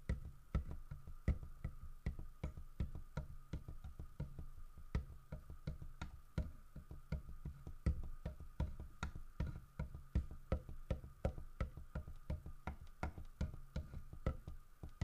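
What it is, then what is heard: Carved wooden bear figurine. Fingertips tap the side of a large, solid carved wooden bear figurine, producing a brisk, somewhat irregular stream of short, dull wooden knocks that sound like a wood block. The knocks are low and thuddy and die away almost instantly, with a faint steady tone running beneath them.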